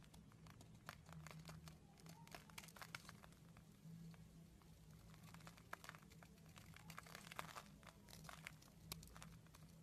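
A small metal blade scrapes and shaves a solid hand-held purple bar of soap with embossed lettering, sending flakes falling off. The result is a steady run of quiet, crisp crinkling and crunching scrapes over a low, constant hum.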